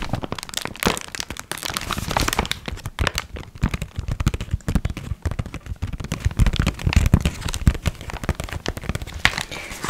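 A small, closed brown kraft paper gift bag with an "18" sticker and contents inside is handled and crinkled by fingertips. It gives a steady stream of dense, sharp crackling and crinkling paper sounds with a low, soft rumble underneath, growing a little louder in the second half.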